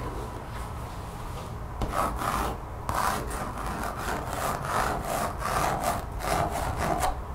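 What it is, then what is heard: Textured rubber mat. Long nails quickly scratch the surface of a thin, solid, brown textured mat, apparently rubber or vinyl, resting on a table, using both hands. The result is a dry, rasping, saw-like scrape with a midrange tone. It starts soft and grows into stronger, rhythmic back-and-forth strokes with bright edges.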